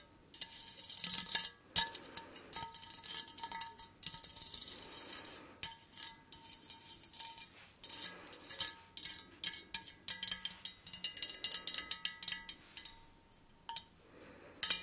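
Long nails tap and scratch a hollow, empty, white perforated metal candle holder with a lace pattern. The result is a run of bright, dry clicks and raspy scrapes with almost no low end. The taps are quick and die out almost at once, coming in bursts separated by brief silences.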